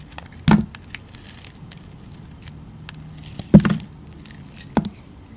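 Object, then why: Glycerin soap bar. A palm-sized, solid round pink translucent glycerin soap bar with glitter is held in the hand while a utility knife blade scrapes and shaves its surface. Three louder, short, low scraping cuts stand out, with faint crackly scratches in between and very little high content.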